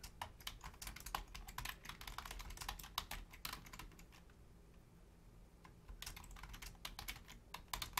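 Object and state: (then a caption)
Plastic computer keyboard. Both hands type rapidly on a black plastic Logitech full-size keyboard with a hollow shell and membrane keys, striking with long painted nails and fingertips. Quick, dry, bright clicks and taps come in dense bursts over a low hollow thump, pause for about a second and a half near the middle, then resume.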